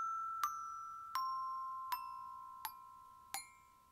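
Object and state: Metal glockenspiel bars.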